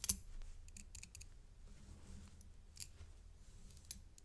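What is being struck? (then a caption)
Metal link chain necklace. A thin stick taps and scrapes along the links of a gold metal paperclip chain necklace with a coin pendant. The result is quiet, bright, crisp metallic clicks and ticks with very little ring, heard in short clusters over a low background hum.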